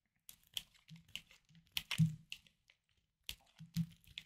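A hard, solid green bar soap is carved and scraped with a small knife while held in hand over a wooden board, with other soaps lying idle nearby. About ten short, crisp, crunchy scrapes come at an uneven pace, each with a dull low thud under a bright crackle. The clip is quiet and close, and each cut ends quickly with almost no ring.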